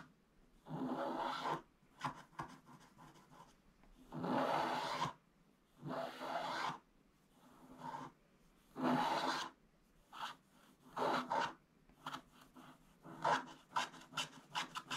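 A pointed wooden stick scratches the black coating off the top right area of a thin, flat, coated scratch-art card lying in a book. Repeated short strokes of dry, rasping scratching come in bursts of varying length with quiet pauses between them. The sound is centered in the midrange with little low end.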